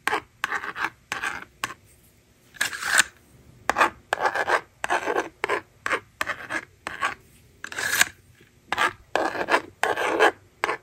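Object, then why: Plastic magnetic drawing board and plastic stylus. A yellow plastic stylus scratches strokes across the honeycomb screen of a small, hollow plastic magnetic toy drawing board held in the hand. It makes a series of short, dry, raspy scraping bursts separated by brief silences. The sound centers in the midrange with some bright edge and has almost no low end.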